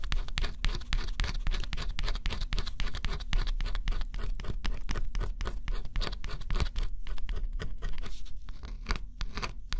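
A small metal stylus held in the fingertips scratches the black scratch-off coating on a flat, solid cardboard jigsaw puzzle. Quick, dense scratching strokes run for the full clip, each a brief dry rasp with a bright, hissy edge over a low rumble. The scratching thins out slightly toward the end.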